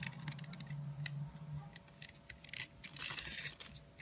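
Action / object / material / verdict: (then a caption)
scrape / bar of soap scraped with a small metal blade / soap / none. A small metal blade scrapes and carves a long, narrow, solid orange soap stick held in the hand, shaving off crumbly flakes. Quiet, bright, crisp scraping rasps come in short bursts, growing denser and louder toward the end. A low hum around 150 Hz sits under the first half.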